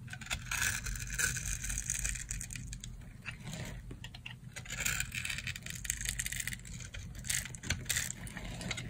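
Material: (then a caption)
Soap. A solid rectangular bar of dry green soap is held in the palm and scored into small cubes with a metal knife blade. Dense, crunchy crackling and scraping continue throughout, bright and sharp over a low steady rumble.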